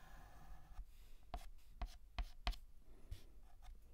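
A hand writes and shades with a stick of white chalk on a large, flat, black painted chalkboard. Soft rubbing and scratching carries four sharp chalk taps with bright, scratchy strokes, all over a quiet low rumble.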